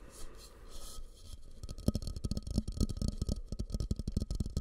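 A medium, fluted, glossy orange bowl of glazed ceramic is held upside down over a microphone, hollow and empty, while fingertips and nails tap and scratch its outer surface. A soft, bright scratching hiss opens the clip, then gives way to about twelve quick, uneven taps. The taps are deep, dull, and boomy, with almost no ring.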